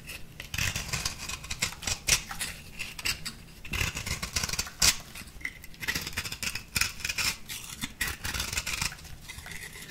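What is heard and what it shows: A small metal blade with a purple handle scrapes a crumbly orange-pink compressed powder bath bomb ball. The result is a steady run of dry, bright scratching and crackling strokes, with brief louder rasps standing out near 2 and 5 seconds.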